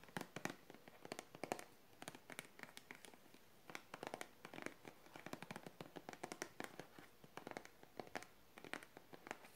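A small clear blue plastic bottle with a blue flip cap and a wrapped label, partly full of blue liquid, is held in both hands and rubbed, squeezed and tapped with fingertips and long painted nails. Quick, sharp crackling clicks and ticks come in irregular bursts, with bright nail taps over soft crinkly plastic rubbing. The sound is quiet and close, with faint hiss between the bursts.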